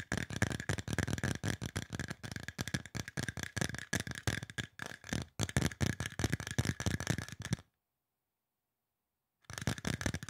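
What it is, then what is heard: Aluminum spray bottle, hollow. Fast fingertip and nail tapping on a hollow, silver aluminum spray bottle makes a rapid, dry clatter. Dull low knocks carry a faint metallic ping near 1.6 kHz, and each tap dies away almost instantly. The tapping runs steadily for about 7.5 seconds, stops for nearly two seconds of silence, then resumes at the end.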